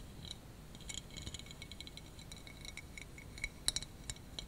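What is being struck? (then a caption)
Clear acrylic Christmas tree figurine. Fingernails tap and scratch a clear, spiky, hand-sized acrylic Christmas tree figurine, likely solid. Quick, quiet, bright clicks and light ticks with a high glassy edge come in a loose run, with a few sharper taps near the end. Each one dies away almost at once.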